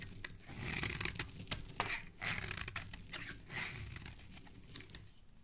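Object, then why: Bar of soap. A palm-sized solid tan bar of soap, held in a gloved hand, is scraped and carved with a small black blade, throwing off shavings and flakes. The clip is a run of dry, crisp scraping strokes with a bright, hissy edge that swell and fade in overlapping waves, with faint crumbly ticks between them.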